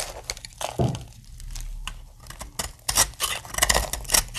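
A metal blade shaves crumbly plates off the end of a solid, dry pink soap bar. Crisp, bright scraping and crackling bursts come in quick succession, louder and busier toward the end, with short dry decays.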